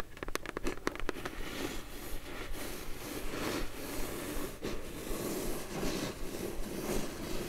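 Long glittery nails tap and scratch across the lid of a closed, hollow brown kraft cardboard box. A burst of sharp, quick taps in the first second gives way to a steady, soft papery scratching with faint hollow knocks.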